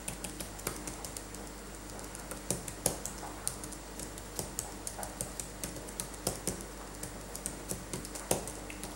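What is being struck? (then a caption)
Plastic laptop keyboard. Gloved fingertips in latex gloves type on a dirty backlit laptop keyboard with plastic keys. The keys give a rapid run of short, dry plastic clicks with bright tops and very little ring, over a faint steady low hum.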